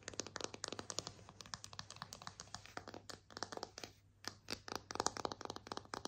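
Long nails tap and scratch a solid, slotted bamboo kitchen spatula held in the air, making a quick run of short, dry, bright wooden clicks with brief scratchy scrapes between them. The taps stop dead with almost no ring, over a faint steady low hum.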